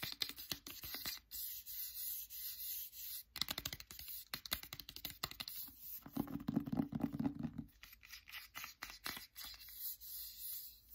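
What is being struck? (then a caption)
Cloth-bound hardcover book. Fingers rub and scratch the spine and cover of a solid "Anne of Green Gables" hardcover with a printed cloth binding. Quick, dry, bright scratching strokes come in dense bursts with short pauses, and a steadier rubbing stretch near the middle brings out a low hum around 270 Hz. Each stroke dies away almost at once, with no ring.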